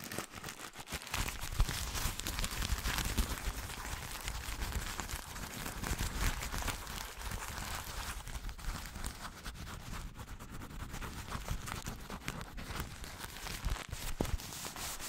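A thin, soft, light white paper tissue is crumpled and scrunched between the fingertips of both hands just above a microphone. The result is a steady, dense crinkling and crackling rustle with bright, papery texture and a low rumble underneath, lasting the whole clip at an even level.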